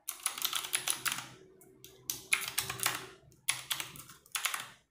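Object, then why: Plastic mechanical keyboard. Fast typing with fingertips and long nails on a compact 60% RGB-backlit mechanical keyboard with plastic keycaps, resting on a wooden desk. Rapid bright, clacky keystrokes come in quick bursts separated by brief pauses, each tap short and dry with almost no low end.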